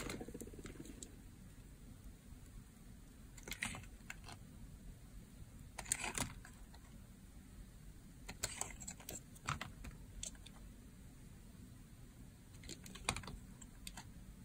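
A box-cutter blade scrapes and carves across a hand-held, hand-sized, solid blue-and-white striped rectangular bar of dry soap. Scattered bursts of crisp, crunchy, bright cutting clicks come in short clusters over a steady low hum.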